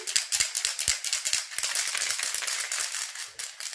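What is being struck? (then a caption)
Metal spray paint can with mixing ball. A half-used metal spray paint can is shaken rapidly, and the mixing ball inside rattles loudly. The quick, bright clicks of the ball striking the can repeat about four times per second. This rattle is normal and shows the ball is moving freely to mix the paint.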